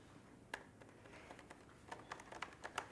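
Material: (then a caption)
Plastic. Fingertips type on the plastic keycaps of a 2019 Apple MacBook Pro with a thin aluminium body, open on a desk. Light, short, clicky key taps come irregularly, with a bright snap on each press and a quick decay, over a quiet background.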